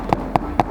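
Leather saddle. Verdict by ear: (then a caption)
Dry. Another part of a leather saddle is tapped three times, giving short, dry, hollow knocks with a mid-range tone that die away almost at once. The leather is stiff and dry, sounding like cardboard because it has had no nourishment.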